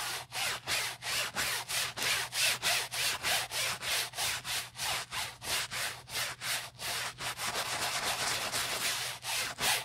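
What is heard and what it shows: Gloved hands scrub the soapy bottom panel and strap edge of a beige Prada nylon handbag with a wooden-handled bristle brush. Quick, steady back-and-forth strokes, about three per second, make a bright, hissy scrubbing with very little low end.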